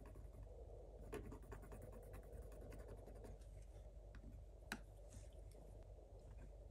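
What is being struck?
Wax-coated scratch-art paper scratched with a wooden stylus.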